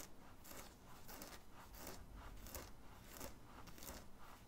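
Fingernails scratch the printed graphic on the chest of a black cotton t-shirt worn under an open hoodie. Soft, bright, rasping strokes repeat at an uneven pace over a low, steady rumble, staying quiet and close throughout.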